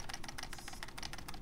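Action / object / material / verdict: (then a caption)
shake / plastic trigger key inside a game controller / plastic / loose. A PS5 DualSense controller fitted with an aftermarket eXtremeRate hair-trigger kit is shaken, and its plastic trigger key, whose pin was not pushed fully in, sits slightly loose and makes a faint, quick clicking rattle. The key still works, but the loose fit causes the noise, which pushing the pin all the way in with a screwdriver stops.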